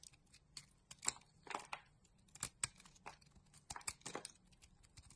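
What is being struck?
Bar of soap.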